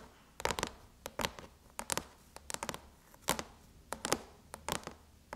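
Long chrome nails tap the surface of a closed silver aluminum MacBook lid with the Apple logo. An irregular series of short, crisp, bright clicks with a light metallic edge dies away almost instantly over a faint low hum.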